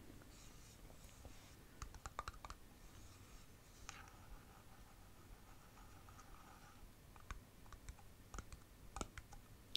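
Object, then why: Glass jam jar with metal lid. Long painted fingernails tap and scratch on the metal lid of a full glass jam jar, then move along the jar's glass side. Quiet, sharp clicking taps are scattered over soft scratchy rubbing, and each tap dies away almost instantly.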